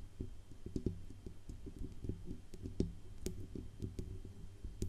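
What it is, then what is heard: Metal microphone body tapped with fingernails. Long acrylic nails tap along the band under the grille and down the hollow metal body of a silver Blue Yeti USB microphone. The result is a quick, steady run of soft, dull clicks with a low, resonant thump and short ring, with occasional bright ticks on top.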